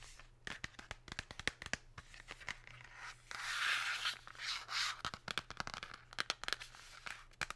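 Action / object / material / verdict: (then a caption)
tap / cardboard chocolate box / cardboard / none. Long pink nails tap and scratch a Lindt cardboard chocolate box, first on the front and then on the back with the nutrition label. Quick, irregular, crisp taps are broken up by a longer stretch of bright, rasping scratches in the middle, all over a faint steady low hum.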